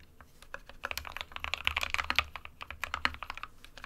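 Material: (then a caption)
Plastic. Fingertips of both hands type rapidly on an SK61 compact 60% plastic mechanical keyboard with white and grey keycaps resting on a desk mat. A dense run of short, bright, clacky keystrokes, each dying away almost instantly, rises and falls in level with very little low-end weight.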